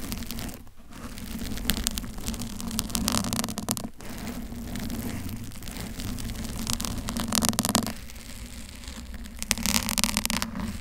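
Long pink and blue nails scratch the front and lower body of a pink bear-shaped foam microphone cover, and only this mic is touched. A dense, crackly, noise-like scratching runs throughout with a steady low hum near 200 Hz. Brief dips occur around 0.7 and 4 seconds, and a slightly quieter stretch follows after 8 seconds.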